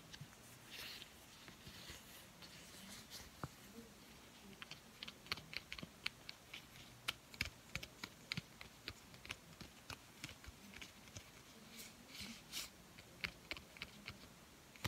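A thin, flat, blue uninflated latex balloon is held in both hands while fingertips with painted nails stretch, rub and crinkle the rubber. Soft, bright crinkles and sharp little snaps and ticks come in scattered bursts throughout, over a quiet, faint low hum.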